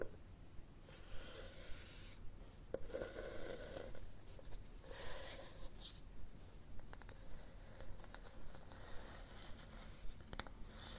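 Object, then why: Cloth-covered hardcover book. Fingertips and nails tap and scratch the cover and spine of a red cloth hardcover book held sideways close up. Soft, dull taps come in an uneven rhythm, mixed with brushy scratching and a steady low hum underneath.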